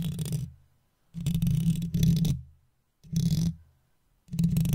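A wooden toothpick held in the fingers taps and scrapes across the hollow metal mesh grille of an uncovered microphone. It comes in a few separate bursts with short silent gaps between them. Each burst is a heavy, low rumbling scratch with a faint bright crackle on top.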